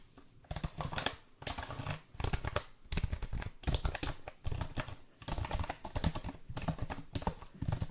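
Fingertips tap and press the keys of a black plastic backlit keyboard held close to the mic. Quick, dry plastic clicks come in dense bursts separated by short pauses, with a soft low thump under each bright tap.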